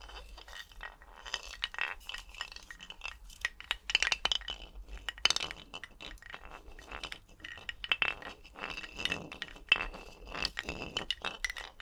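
Skeleton bones clink and click against each other in quick, irregular bursts for about twelve seconds. The sounds are sharp, bright and dry, sitting mostly in the high range with almost no low end and no ringing after each tap.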